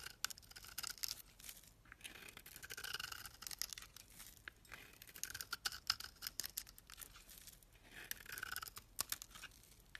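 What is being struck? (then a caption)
Bar of soap scraped with a metal blade. A solid red-and-white bar of soap held in the hand has its white face scraped with a metal blade, forming curls of soap. The result is a quiet, dense run of bright, crisp scraping and crackling strokes with short snaps and almost no low end.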